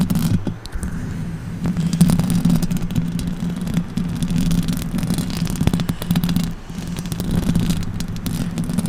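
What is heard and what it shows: Long orange acrylic nails scratch the hollow metal mesh grille of a silver condenser microphone. A dense, continuous scraping and rustling rides over a steady low hum, broken by quick clicking transients, with the loudness swelling and dipping throughout.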